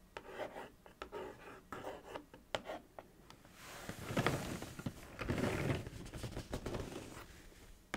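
Long acrylic nails trace and scratch along the side and back of a thin, hollow, printed cardboard Kellogg's cereal box. Quiet rasping strokes are broken by sharp, dry nail clicks, then give way to louder, broader scratching bursts in the middle before easing off with a few more clicks.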